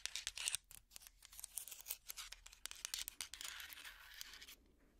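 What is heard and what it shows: Fingertips and nails scratch a hot pad made of small wooden blocks strung together. The result is a dense run of short, dry, bright scratching strokes with almost no low end or ring. It eases into a steadier, softer rasp before going quiet at the end.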